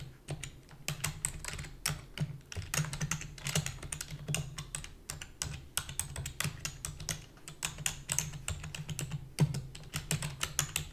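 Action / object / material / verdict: tap / plastic computer keyboard / plastic / none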